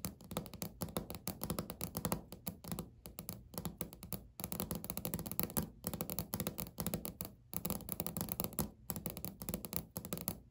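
Natural fingernails of both hands tap rapidly on a large, flat beige speckled laminate countertop, with the hands pulling back toward the end. Quick, dull clicks and thunks come in dense bursts with brief pauses between them. Each tap is short and dry, with a low, woody body around 190 Hz and little bright ring.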